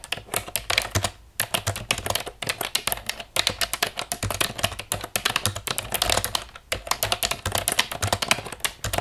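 Long nails tap fast on the keys of a hollow black plastic computer keyboard lying on a wooden table. The result is a rapid, bright, dry clatter of short clicks with almost no ring, broken by a few brief pauses.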